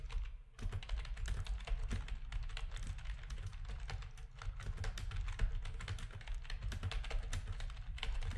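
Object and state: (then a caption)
Plastic gaming keyboard being typed on. Rapid fingertip typing from both hands on a full-size black plastic backlit RGB gaming keyboard with a hollow housing. A dense stream of short, bright key clicks and clacks rattles over a steady low hum.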